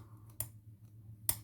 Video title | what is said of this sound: Two cheap and chearfull stilleos | quite a heavy bar you can probably hear that on the tap